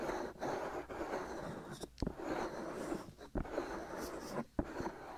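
Fingertips and short nails of both hands scratch and rub the hollow white silicone ear pieces on both sides of a black binaural microphone. A steady, dense scratching and rubbing texture fills the clip, broken by several sharp, brief knocks and pops as the fingers shift their grip.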